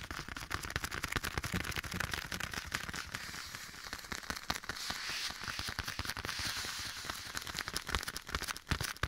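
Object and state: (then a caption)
Leather glove. A black leather glove is worn on one hand and held near the right microphone ear while bare fingertips tap and scratch the leather. Rapid, irregular, crisp taps and a bright, crackling scratchy texture run throughout, with an echo effect. A softer, smoother scratching passage sits in the middle before the sharper taps return.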